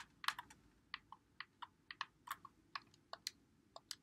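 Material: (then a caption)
Plastic. A white Xbox One controller with a hollow plastic body is held in both hands while fingertips press and click its buttons and thumbsticks. About 16 short, sharp plastic clicks sound in an uneven rhythm, each bright and dying away almost instantly, with no low-end weight.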